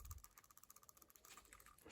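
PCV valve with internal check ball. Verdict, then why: Loose. A PCV valve from a 2011-2024 Infiniti QX56/QX80 or 2017-2024 Nissan Armada, cleaned with solvent, is shaken by hand, and its check ball rattles inside. The clip is a quick run of light, dry clicks, with a low thump at the start. The check ball now moves freely, as it should.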